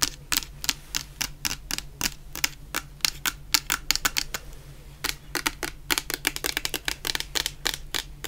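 Long nails tap and scratch a medium clear plastic bottle full of orange shower gel, making a rapid run of dozens of sharp, bright clicks. Each click dies away almost instantly. A brief pause falls midway, and a faint low hum runs underneath throughout.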